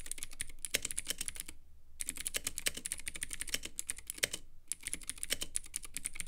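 A Womier K66 compact mechanical keyboard with Gateron Blue switches, white plastic keycaps and a clear acrylic RGB case is typed on continuously with the fingertips. It gives a fast run of sharp, bright, clicky keystrokes with very short decay. The typing breaks off briefly twice, near 1.6 and 4.6 seconds.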